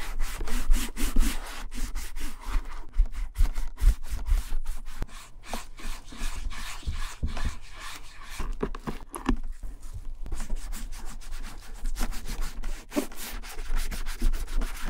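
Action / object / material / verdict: scrape / leather satchel bag / leather / none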